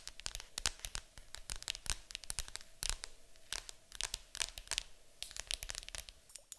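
Long acrylic nails tap and scratch quickly on the lid of a large, hollow, printed cardboard board game box. The result is a dense run of sharp, dry clicks with bright, crisp scraping between them, plus a faint low hollow thump under the hits and almost no ring after each one.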